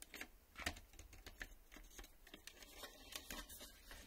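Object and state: Plastic VHS cassette.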